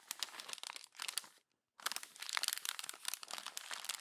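A hand crumples a page of a glossy paper magazine into a wad and turns the next page. Dense, bright, crackling paper crinkles fill the clip, stopping briefly for a short silent gap before resuming just as busily.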